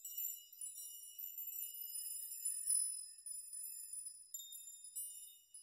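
A chime of many long hanging steel nails is rocked by fingers so the nails clink together. The result is a quiet, continuous, bright metallic tinkling with shimmering high ringing tones and no low end.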